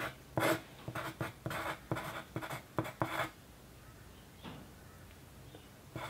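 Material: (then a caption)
Paper. A yellow wooden pencil writes on a thin white paper sheet resting on a dark desk, making a run of steady, bright scratching strokes for about three seconds. A few fainter, softer strokes follow over a quiet background.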